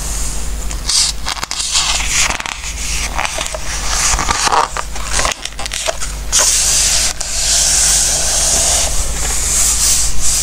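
Fingertips rub the coated pages of an open glossy-paper Christmas recipe book and then turn one page, making bright, papery rustles and soft scrapes. A steady low hum sits underneath, and the page turn ends in a fuller, brighter sweep of paper noise.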